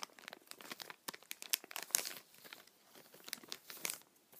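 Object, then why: Thin clear plastic bag. A small, empty, transparent thin plastic bag is held in both hands while the fingers crinkle and rub the film. Dense, bright, quiet crackling fills the clip with almost no low end, rising into sharper, louder crinkles around the middle and again near the end.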